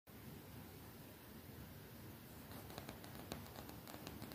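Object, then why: Printed cotton t-shirt on the body. A colorful graphic-print cotton t-shirt, worn on the body, is tapped and lightly scratched by fingertips with long nails. The result is soft, non-hollow rustling and scratching over a low, steady noise bed. From about halfway through, brief light taps stand out.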